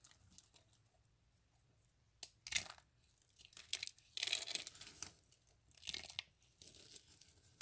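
Dry soap curls are broken apart by fingers, then handfuls of soap flakes are squeezed and crushed. Quiet, brittle crackles and crinkles build into louder bursts of bright, papery crunching, with short pauses between squeezes.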